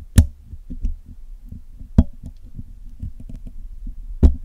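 Steel tweezers and a steel pick scratch and pick at the top of the black hollow metal mesh grille of a Blue Yeti microphone while it is being cleaned. Soft, low, thumping scrapes and faint ticks run throughout, with three sharper, louder taps standing out at the start, middle and end. Each tap is short and dull, and the sound stays heavy and low with almost no bright ring.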